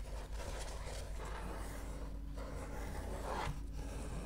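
Fingernails scratch and rub across the beige paper pages of an open book near the spine. The result is a steady, soft, dry scraping with a low rumble underneath and brief brighter swipes.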